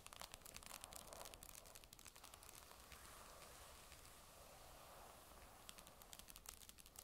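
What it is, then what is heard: Magnesium tablet back tapped with nails. Long nails tap the magnesium metal back of a grey Surface tablet lying face down, near the logo. Quick, sharp, bright clicks come at the start and end, with a steadier hissy wash between them, all smeared by an added echo.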